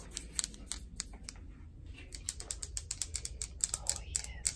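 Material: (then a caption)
Granite. Long acrylic nails tap and scratch on a speckled grey granite bathroom countertop, a large solid slab with a tile backsplash. About 23 quick, sharp, bright clicks ring off almost instantly, with soft scratching strokes between them, over a low, steady background hum.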